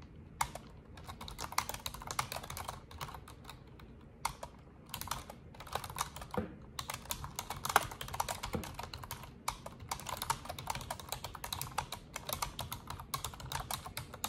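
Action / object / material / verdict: tap / plastic computer keyboard / plastic / none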